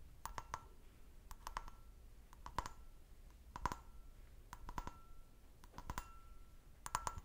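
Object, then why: Glass brandy snifter. An empty, medium-sized, hollow clear glass brandy snifter with a stem, held by the bowl and stem, is tapped with fingernails. Quick clusters of light, bright clicks come in bursts, each with a brief glassy ping near 1 kHz that dies away almost at once. A faint low background hum sits underneath.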